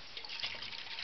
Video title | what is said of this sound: Coolest Sound Ever (and how to recreate it) | You can hear it sloshing around because it's not completely full.